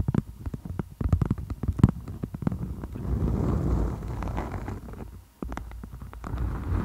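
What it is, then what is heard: Beeswax-coated cotton food wrap. A floral-print beeswax wrap, a thin beeswax-coated cotton sheet, is draped over a microphone like a tent while long acrylic nails tap and scratch its waxed fabric surface. Dense, dull, low-heavy taps and crinkles come first, then a steadier scratching rustle in the middle, a brief near-silent pause, and more tapping to the end.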